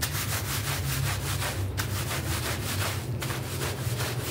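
A green-bristled push broom scrubs back and forth across a small, doormat-sized purple shaggy synthetic pile rug that is flat, soft and dusted with cleaning powder, lying on a plastic sheet. The steady rhythmic brushing strokes make a continuous bright, scratchy swish over a strong low rumble, with no pauses between strokes.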